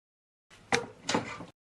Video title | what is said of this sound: How to Remove Drum from Samsung Washing Machine | dacă mut arborele, există joc care nu ar trebui să fie acolo